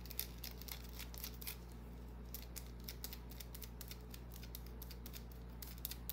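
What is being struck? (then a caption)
Small bar of soap. Long dark-painted nails scratch a small solid white bar of soap held in the hand, flaking its surface. Quiet, bright, crisp scratches come in quick, irregular bursts over a steady low hum.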